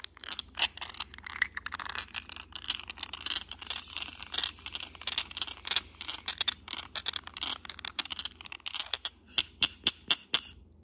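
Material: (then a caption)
Glass. Short nails and fingertips tap and scratch the textured surface of a small, hollow, cylindrical white glass vase with a grey geometric pattern. For about nine seconds there is a dense, crisp, high-pitched mix of scratching and quick tapping. It then thins out to a few separate, sharp taps near the end.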